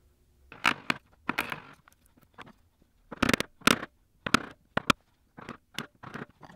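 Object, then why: Pine wood block. A steel bench chisel, held in the hand, is pressed down to chop and pare into the end grain of a solid light pine block clamped to a workbench. Thirteen short, dry, crackling crunches and scrapes are heard in uneven bursts, with quiet gaps between them. Each one is bright and fibrous and stops almost instantly, with no ring.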